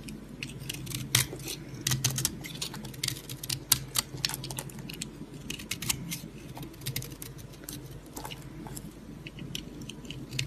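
A white solid soap bar held in the palm is scored and scraped with a yellow utility knife blade. Crisp, bright scratching and clicking snaps come in quick irregular bursts over a low, steady hum, each cut crackling sharply and stopping at once.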